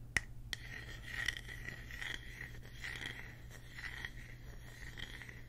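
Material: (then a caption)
Wood. Fingertips tap and scratch the smooth, reddish cut face of a thick, palm-sized, solid round slice of natural wood with rough bark on its side. A couple of sharp, dry taps open the clip, followed by soft, uneven scratching with a whispery, mid-high rasp over a steady low hum.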